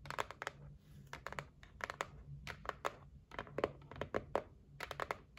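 Long nails tap and scratch the top edge and lid of a closed, medium-size white cardboard gift box. Many quick, dry clicks land in irregular bursts, with soft papery scraping and a faint low hum between them.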